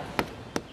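A tapping tool strikes a living tree trunk twice during a tree-risk check for rotten versus sound wood, giving two short, dry knocks with almost no ring. The spot sounds dense and solid, not hollow.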